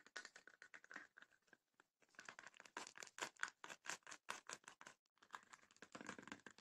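Long nails scratch the woven rattan lid and front of a small, closed, hollow wooden chest with woven rattan panels. Quick, dry, bright scratching strokes come in an irregular run with short gaps and a couple of brief pauses. The sound is quiet and thin, with almost no low end.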